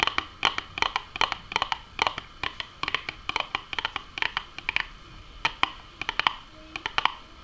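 Long nails tap and scratch the top and side panels of a small, hollow, printed Nuggets cardboard box. A rapid, uneven run of short, dry clicks with almost no ring, each with a hollow tone near 1 kHz plus a bright crackle, is broken by light scratching between the taps.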